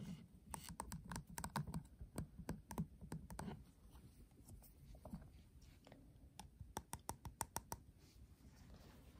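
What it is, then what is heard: Metal tin eyeshadow palette. Fingertips tap the back of a flat, hollow metal tin eyeshadow palette, then nails tap and scratch its gold metal rim and heart clasp. About two dozen short, sharp clicks with a dull low knock beneath them come in an irregular run at first, then give way to quieter scratching. A final quick burst of taps follows, each one dying away almost instantly.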